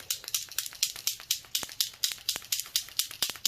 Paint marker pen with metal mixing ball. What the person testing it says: shake it till you hear it move